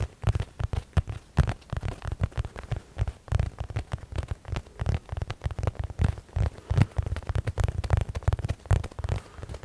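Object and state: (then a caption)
Padded nylon fabric pouch. A medium padded blue nylon zip case held close is scratched and rubbed with fingertips, making a dense run of quick, dry scratching and tapping sounds. The hits are short, muffled and low-heavy, with a faint crackly texture on top, and they come in uneven bursts throughout.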